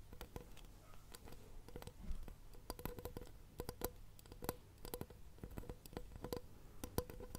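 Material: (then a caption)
Shell. A seashell is tapped in quick, irregular bursts, each tap a short, dry, wood-block-like knock with a faint tone near 490 Hz that dies away almost instantly. Soft mouth sounds run underneath throughout, and the overall sound is quiet and weighted toward the low end.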